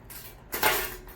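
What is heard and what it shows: A plastic Booyah One Knocker lipless crankbait fishing lure with a single knocker is shaken, giving a brief, bright knocking rattle that swells and fades within about half a second. The rattle is normal for this lure and more subtle than other rattle-trap baits.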